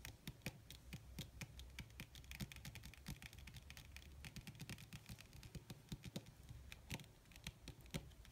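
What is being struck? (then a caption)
Crumpled leather sheet. Long red nails tap fast across a crumpled black leather (possibly faux) sheet, making a rapid, uneven stream of soft clicks. Each tap has a short low thud and a bright tick that fades almost instantly, over a faint steady low hum.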